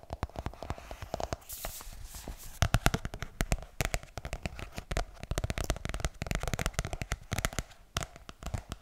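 Fingernails scratch and tap the glossy card back cover of a closed pink paperback book held close to the microphone, while the book is handled and turned. Dense, rapid, dry clicks and crackly scratches run throughout, with brief bursts of brighter scraping and no ring after each tap.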